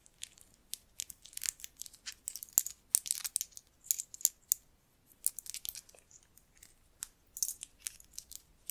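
A string of small hollow cowrie seashells is held up by hand while long nails handle them and click the shells together. Quiet, bright, sharp clicks and dry rattles come in irregular bursts, with almost no low end and each click dying away instantly. The result is a crisp, scattered patter of shell-on-shell taps.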